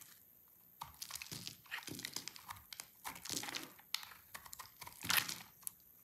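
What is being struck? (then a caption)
Soap bar. A hand-held solid cream soap bar with orange inclusions, dry, is shaved with a utility knife blade. Crisp, bright scraping crunches come in quick uneven strokes with short pauses. The shavings crackle dryly and the sound is mostly high-pitched with very little low end.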